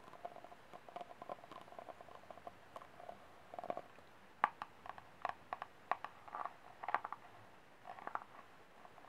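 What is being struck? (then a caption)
Thin disposable plastic cup. Fingernails scratch the ribs and tap the base of a small, empty, ribbed white disposable plastic cup as it is held sideways and then upright. Quiet, dry scratching ticks give way to sharper, hollow plastic taps with a light mid-pitched ring, growing louder and more distinct in the second half.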